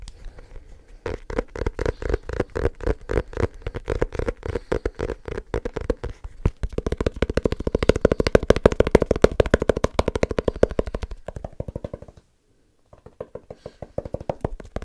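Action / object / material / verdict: tap / small leather-covered notebook / leather / none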